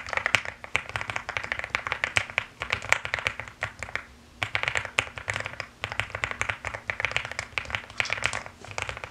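Fast typing with fingertips and long nails on a mechanical keyboard with pink and white plastic keycaps makes a dense stream of sharp, dry, bright clacks with no ring. The clacks cluster around 2 kHz and carry little low end. Short pauses just after 4 seconds and near 6 seconds break the bursts.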